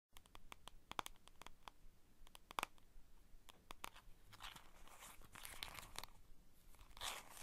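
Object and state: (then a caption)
Cardboard playing card box. Long white and green painted nails tap and scratch the surfaces and edges of a small printed cardboard box of playing cards, held in both hands, hollow and filled with a card deck. Many quick, dry taps click across the first half, then give way to bright, raspy scratching. The sound is quiet and close, with short hollow knocks that die away almost instantly.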